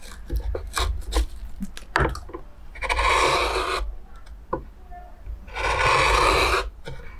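A metal gouge is scraped and cut through the surface of a large oval pale wooden plate with a hollowed bowl full of shavings, in a steady carving and scraping action. Short dry clicks and taps give way to two long, bright, rasping scrapes of about a second each, separated by quieter handling noise.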